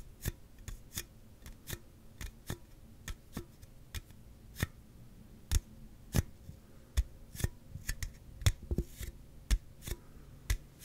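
A hollow, slim Celsius aluminum drink can is tapped and scratched on its end and side with fingertips and nails close to the mic. Eighteen sharp, separate clicks land with a short low, hollow knock underneath. Soft scraping fills the gaps, and each tap dies away almost at once.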